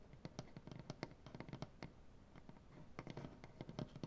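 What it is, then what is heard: Wooden butcher block table. Long dark-painted nails tap and scratch across a solid light wood butcher block tabletop, making a quick, irregular series of short, dry clicks and knocks. Between the taps, a soft scratching texture runs along the wood. The sound is quiet and close, mostly low and woody with little bright content, and each hit dies away almost instantly.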